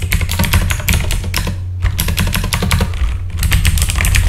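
Fingertips of both hands type on a full-size backlit mechanical computer keyboard with plastic keycaps, producing a rapid stream of short, bright clicks and clacks. There are brief pauses near 1.7 and 3.2 seconds. A steady low hum runs underneath throughout.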